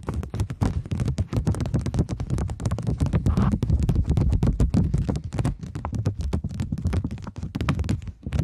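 A polymer plastic £20 banknote is flexed in the hands while long nails rapidly tap and scratch across it. The result is a dense, irregular stream of short, dull taps and crinkly scratches, with most of the energy low and thumpy and each hit dying away quickly.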